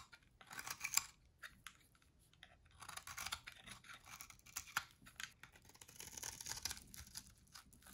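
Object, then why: Soap bar scraped with a metal blade. A solid white dry soap bar held in the hand is shaved with a metal box-cutter blade, scraping and carving into it. Quiet, bright, dry crackling scrapes come in short bursts with a brief lull near the start, each stroke crisp with almost no ring and very little low end.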